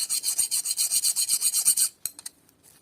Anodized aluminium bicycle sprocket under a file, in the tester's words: You hear a glassy sound.